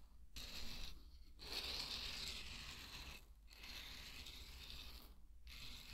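Dry pearl barley grains are scooped with a wooden spatula, poured back onto a bed of barley, and stirred. The result is a dense, bright rattling patter of tumbling grains, broken by brief pauses between pours, over a steady low hum.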